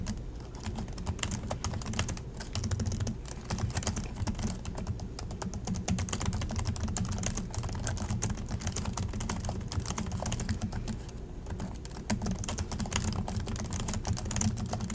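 Both hands type continuously with their fingertips on the plastic chiclet keys of an Acer laptop keyboard, seen from the side. Rapid, short, bright clicks run together in a dense, steady patter of taps. A constant low hum sits underneath throughout.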